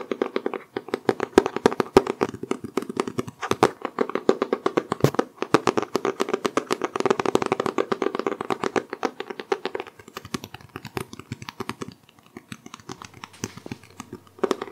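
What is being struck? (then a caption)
Cloth-covered hardcover book. Fingertips tap rapidly on the cover of a solid green hardcover book with a cloth-textured cover, held upright and then tilted. The dense stream of short, dry, hollow taps centers on a low-mid tone around 380 Hz with little ring. The taps thin out and grow quieter in the last few seconds, with a brief burst near the end.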